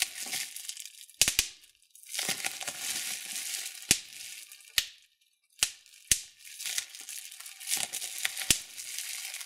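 Clear plastic bubble wrap, twisted into a fold, is pinched by thumbs to pop the bubbles. Bright, steady crinkling and crackling of the plastic runs throughout, broken by several sharp, quick pops that die away almost instantly.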